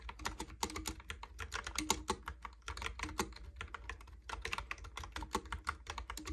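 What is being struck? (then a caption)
Plastic keyboard keys. Fingertips type quickly on a Logitech keyboard with round plastic keycaps, producing a dense run of short, bright plastic clicks and clacks. Each keystroke stops almost instantly over a steady low hum, with only a few brief pauses between bursts.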